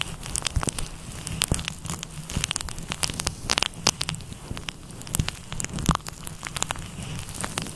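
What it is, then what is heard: Faux fur windscreen being scratched. Fingertips and nails of both hands scratch and rub a fluffy grey-white synthetic faux fur windscreen over a microphone. The result is a dense, crackling stream of many sharp, brief bursts with bright, high rustle over a low rumble, sounding almost like fire or rain.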